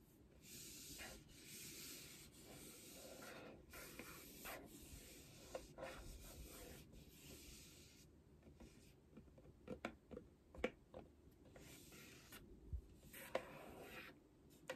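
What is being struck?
Cardboard box.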